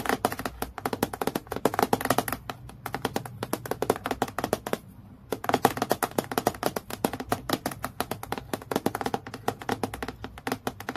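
Long fingernails tap quickly on a clear acrylic plastic clipboard lying flat, close to the clip area. The result is a rapid, steady stream of short, dry clicks with a mid-pitched knock around 790 Hz and almost no ring. The tapping pauses briefly near the middle before resuming.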